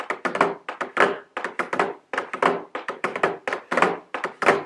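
Very long blue nails tap a medium square white cardboard nail polish gift box, held upright, with a round plastic window showing the nail polish bottles. About 22 quick, hollow thunks come in irregular clusters, each dying away fast with a mid-pitched body.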